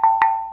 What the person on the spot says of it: it's got a different ring than bronze but it's got a ring to it